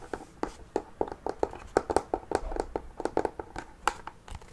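Fingernails tap and scratch on the lid of a closed wooden mini chest covered in faux leather, including the metal handle on the lid. A quick, uneven series of short, dry, mid-pitched taps stops almost at once, with soft scratching in between and brief brighter clicks from the handle.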